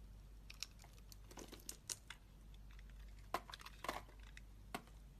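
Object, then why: Bar of soap cut with a metal blade. A metal utility knife blade carves flakes from a solid red and white striped bar of soap held in the hand. Irregular crisp scrapes and sharp crackling snaps ring out, bright and dry. They sit over a quiet, steady low hum.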